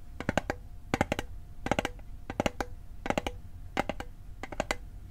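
Fingertips tap the sides of a small, hollow, rectangular metal Altoids mint tin held on its edge. Quick bursts of three or four light, clicky taps repeat about every 0.7 seconds, each with a brief metallic ping around 600 Hz that dies away almost at once.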